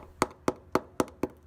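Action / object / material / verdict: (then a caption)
strike / steel truck frame rail / steel / hollow. A hammer strikes the steel frame rail under the passenger side of the cab of a 1985 Toyota 4wd pickup truck, testing it for rust. Five short, sharp, evenly spaced taps ring briefly with a bright, hollow tone. The frame sounds hollow because it is rotted by rust inside, with crud and pieces of the inside of the frame coming out.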